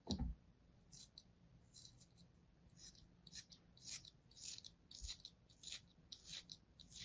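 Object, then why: Kinetic sand shape cut with a thin metal blade. A thin metal blade repeatedly scores a flat, molded kinetic sand shape resting on an open palm, cutting it into ridges. After a soft low thump at the start, quiet, crisp scraping strokes come in short bursts with a bright, high hiss over a faint low hum.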